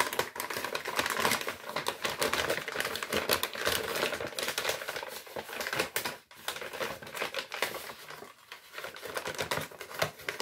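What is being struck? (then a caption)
Kraft paper bag. An empty, flat brown kraft paper bag printed with recycling symbols is held in both hands and crinkled and scratched with the fingers. The result is a dense, continuous run of bright, dry crackles and scratchy rustles with almost no low end. There is a brief near-silent pause around the six-second mark before the crinkling resumes at a slightly softer level.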